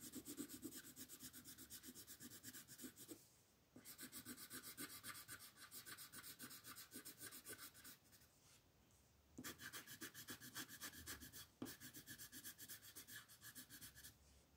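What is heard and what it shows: A dark red wooden colored pencil rubs and scratches across a flat white paper mandala coloring sheet in quick, bright, scratchy back-and-forth strokes at about four per second. The strokes come in bursts, with brief near-silent pauses a little after 3 seconds and again around 8 to 9 seconds.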